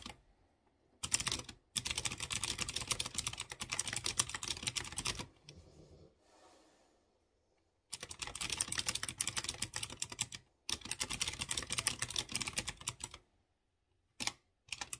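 Fingertips with dark nails type on a light blue plastic mechanical keyboard with round chrome keycaps over clear-housed blue switches. Rapid runs of bright, crisp clicking key presses come in bursts separated by short silences, with a softer stretch in the middle.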